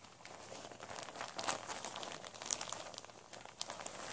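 Hands in white rubber gloves gather, crumple and scrunch a large, thin, flexible vinyl tablecloth with a blue fish print, lying flat on a surface, into folds. A steady, bright crinkling runs throughout with almost no low end, broken by sharp, crisp crackles that die away instantly.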